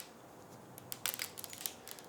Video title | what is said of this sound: What Liquids Will Orbeez Absorb? | They're still very hard. There's no, they didn't absorb anything.